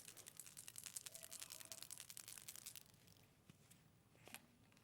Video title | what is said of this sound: 12/01/24 - CARNATION CRAFTS, THAT'S CRAFTY & SHEENA DOUGLASS | you need to shake it first yeah you'll hear the ball bearing